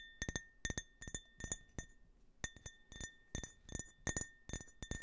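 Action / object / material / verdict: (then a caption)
tap / glass tumbler / glass / none. A small, empty glass tumbler with a US flag print is held sideways in front of the mic while fingertips and nails tap and scratch its printed surface. Quick, uneven clusters of bright glassy clinks are heard over a steady, thin ringing tone from the glass. There is a short lull near the middle before the tapping resumes.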